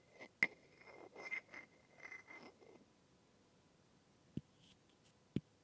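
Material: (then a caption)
Wood. A rounded-end wooden stick held in the hand taps and rubs a solid, light wooden massage tool with a rounded knob, close up. A sharp tap comes first, then a series of soft scraping rubbing strokes carrying a faint tone around 2 kHz. After a quiet pause, three more short, dry taps follow.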